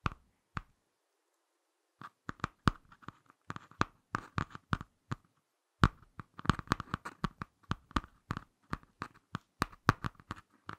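Fingertips and short nails tap and scratch the front cover of a small, closed Ladybird hardcover picture book with a glossy laminated cardboard cover, held in both hands. Dozens of short, dry taps land in quick irregular bursts after a brief quiet gap near the start. Each tap is a soft low thud with a crisp click and no ring, and light scratchy rustles fall between them.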